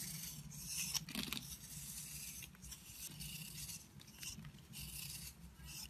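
A red utility knife scrapes and chips flakes from an oval solid soap bar with a rough, dry, crumbly green-blue coating, held in the palm. The sound is a quiet, bright, gritty rasping with short crumbling bursts, over a low steady hum.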